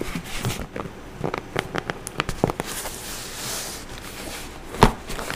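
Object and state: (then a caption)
Cardboard box. Long orange acrylic nails tap and scratch the surface of a brown corrugated cardboard box with clear packing tape, held beside the mic. A series of quick, dry, crisp taps clicks over a soft scratchy rustle, then the sound settles into a quieter steady scrape before one louder sharp tap near the end.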